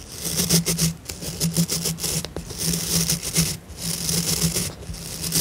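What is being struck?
Plastic scrub brush with synthetic bristles.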